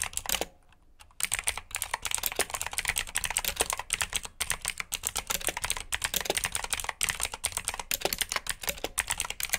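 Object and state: Mechanical keyboard with clicky switches.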